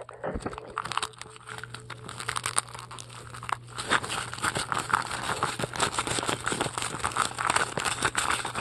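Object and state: Styrofoam ball being scratched.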